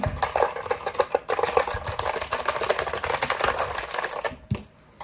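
A black plastic mechanical keyboard is held up in both hands while fingertips tap the keys very fast and scratch over the keycaps. A dense, chaotic stream of sharp plastic clicks and scratchy rasping runs for about four seconds, then drops away with a couple of last taps.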